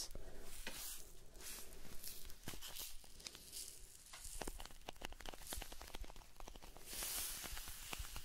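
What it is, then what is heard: Cardboard salt box. A small, hollow blue "Alpen Salz" cardboard salt carton is held close to the face while fingers scratch and tap it. The result is a quiet, dry, hissy scratching with bursts of bright rustle, broken by many sharp little taps.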